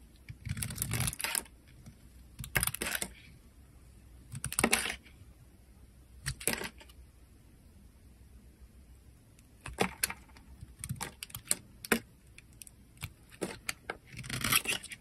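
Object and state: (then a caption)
Dry bar soap being carved. A rectangular peach-to-cream bar of dry soap is held in the hand and shaved with a metal utility knife blade, dropping curls and flakes onto a white surface. Short bursts of crisp, bright scraping come in separate strokes, with longer sweeps early on and quicker, tighter cuts toward the end. The gaps between them are quiet.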